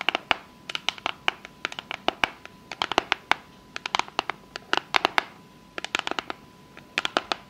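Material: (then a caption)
Cardboard. Long fake nails tap and scratch the lid and edges of a small, rigid, hollow, closed pink cardboard box. About 39 sharp, dry, bright clicks come in quick irregular bursts, each stopping instantly with no ring. A faint steady tone sits near 1 kHz underneath.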